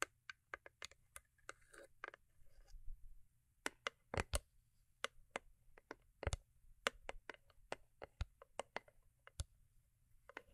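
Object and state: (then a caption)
Holographic cardboard gift box tapped. Long acrylic nails tap the top and sides of a small, closed, hollow cube-shaped cardboard gift box covered in holographic foil. About 27 sharp, dry clicks come in an irregular quiet series, each dying away almost instantly, with faint soft scraping between some of them.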